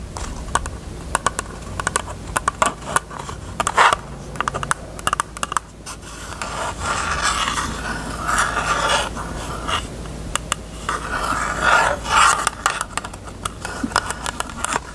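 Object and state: Hollow plastic case.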